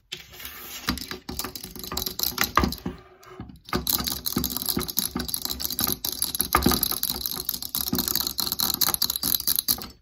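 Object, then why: Metal tripod light stand. Long nails rapidly tap and scratch along the legs of a folded black metal tripod light stand, long and solid-tubed, lying on a table. The quick, bright clicks and rattly scrapes come in dense bursts with a short quieter pause near the middle.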